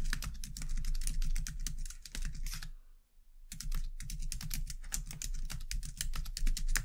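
Both hands type steadily on a white low-profile plastic computer keyboard, striking with fingertips and long dark-painted nails. It makes a fast, uneven stream of light, bright clicks over a steady low hum, with a brief pause about three seconds in before the typing resumes.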